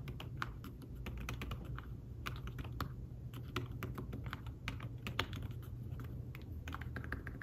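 Fingertips tap quickly across the keys of a thin fabric-covered tablet keyboard case in fast, steady typing. Each keystroke is a short, soft, muted click that dies away almost at once, over a constant low hum.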